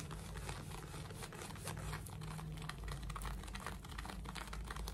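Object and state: Denim fabric scratched with fingernails.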